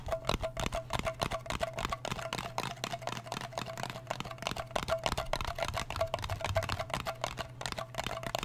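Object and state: Small metal cream tin tapped with fingernails.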